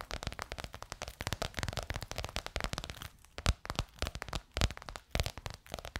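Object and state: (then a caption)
Croc-embossed faux leather cover. Long nails rapidly tap and scratch a bronze-gold crocodile-embossed faux leather cover stretched over a curved hollow form. The result is a dense run of dry, crackly clicks and scrapes with a soft low thump beneath them, broken by a few sharper, louder taps in the second half.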